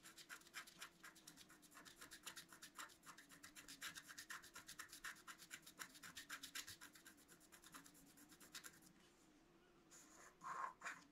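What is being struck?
Black-coated scratch art card scraped with a wooden stylus.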